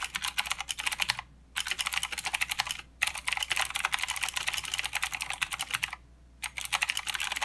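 Fingertips of both hands type continuously on a full-size mechanical keyboard with plastic keycaps and blue clicky switches. Rapid, bright, crisp clicks run in dense bursts with very little low end and almost no ring. Typing breaks off in brief pauses near 1.2, 2.8 and 6 seconds.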